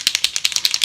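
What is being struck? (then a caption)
Paint marker with mixing ball. A Posca paint marker is shaken to mix its paint, with the mixing ball rattling inside in quick, bright clicks. The marker is a bit worn out and gives more water than paint, so it is shaken well. About nine short rattles are heard across the clip.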